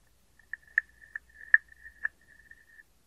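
A hand-sized, hollow, carved wooden frog guiro, held in one hand, is scraped along its ridged back with a wooden stick. It gives a quiet, steady, croaking rasp pitched around 1.8 kHz, broken by five sharper clicking accents over about three seconds before it fades out.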